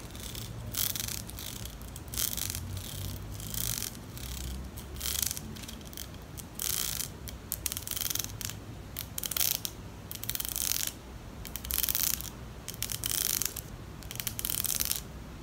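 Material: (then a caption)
Plastic. A pink plastic wide-tooth comb is held diagonally while fingertips and nails run along its teeth. The result is bright, ratchet-like strumming in irregular bursts over a low background hum.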